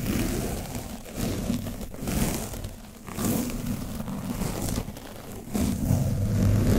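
A foam brush is pressed and brushed across the top of an orange foam microphone windscreen coated with dried paint. This produces a dense, low, muffled scratching and rustling that swells and fades in uneven strokes, with a faint crackly texture on top.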